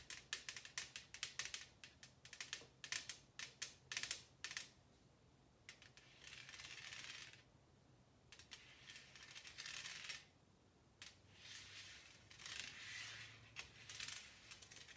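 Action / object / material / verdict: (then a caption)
tap / thin metal tin lid / metal / none. A large, round, silver metal tin lid lies upside down on a glass table, its thin, hollow underside tapped and scratched with long painted nails. Quick, bright, clicky taps with very short ring fill the first few seconds, then give way to longer hissing scratch strokes mixed with scattered taps.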